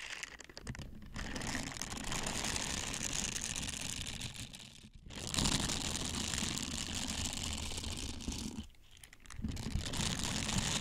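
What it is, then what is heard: Silicone scrubber. Small hollow blue silicone dish scrubbers with a bristle texture are held close to the microphone and squeezed, flexed and rubbed with the fingertips, first one scrubber and later two. The result is a dense, steady crackling and rubbing texture with bright, crinkly friction over a soft low thump. Brief quieter gaps fall near 1, 5 and 9 seconds.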